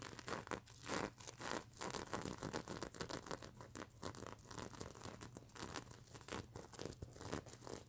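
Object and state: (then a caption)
Sequin-covered plush pillow being scratched. Long nails scratch across the plastic sequins of a stuffed mermaid unicorn pillow, making quick, raspy bursts of bright crinkly clicking. The strokes repeat continuously with a steady, textured scratch throughout.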